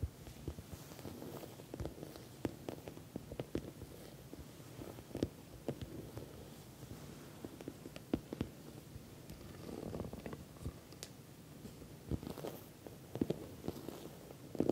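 Long nails and fingertips tap and scratch the sides of a medium, glossy orange patent vinyl cosmetic bag that is soft-sided and filled. The result is quiet, dull tapping mixed with soft scratching and rustling, with irregular sharp clicks throughout.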